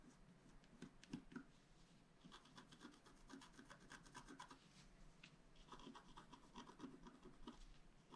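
A wooden stylus scratches dense, short strokes across the top of a flat black scratch art sheet lying on a table. The result is a quiet, continuous dry rasping and rubbing, with bright scratchy bursts and occasional slightly louder strokes.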